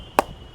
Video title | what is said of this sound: Most Expensive Cricket Bats – SS, SG, Gray Nicolls & DSC Ping Test & Review | इसका पिंग तो अच्छा रहता ही है। कोई डाउट ही नहीं है।